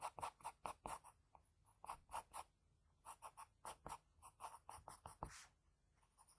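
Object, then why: Graphite pencil on paper sheet. A sharpened graphite pencil scratches short lines around the nose of a sketch on a flat sheet of white drawing paper. Around twenty quick, separate strokes give soft, dry scratches centered near 950 Hz with bright, airy edges. A longer, smoother stroke follows near the end, then a few faint touches.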